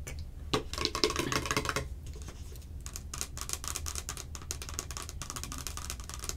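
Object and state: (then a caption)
Hollow plastic can-shaped container. Long acrylic nails tap rapidly and scratch along the ridged surface of a hollow, hand-sized, clear plastic can-shaped Cherry Coke container. Quick, bright clicks come in uneven bursts over a light scratching hiss and a low hum.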